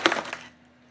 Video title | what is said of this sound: January 2023 - A Mystery Tackle Box Elite Unboxing vs Monsterbass Platinum Showdown! | I can still hear the rattle just a little bit and you know the stuff is still moving inside here but there's a significant amount of less movement